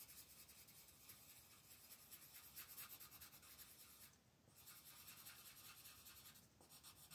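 A red colored pencil shades a thin paper coloring sheet lying flat on a table with steady strokes. It makes a quiet, bright, scratchy rubbing that repeats in a loose rhythm, with short dips in sound around the four- and six-and-a-half-second marks before the shading continues.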